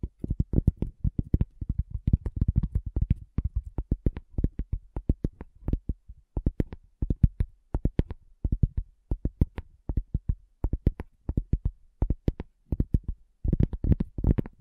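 A cork coaster is tapped in quick, uneven bursts, making dull, low thuds with almost no ring. The taps come in clusters separated by brief pauses, ending with a denser, louder flurry.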